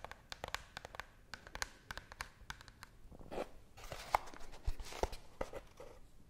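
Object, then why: Small cardboard box. A small, hollow brown cardboard box, held close to the face and microphone, is scratched with long nails along its sides. Many quick, dry scratches and taps crackle with bright edges over a low rumble. They build into denser rasping scrapes toward the end.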